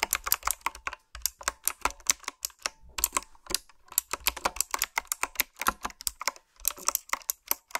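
Fingertips type steadily on a retro typewriter-style keyboard with round black plastic keycaps. Bright, crisp clicks come in quick runs, each dying away almost instantly, with brief pauses between bursts.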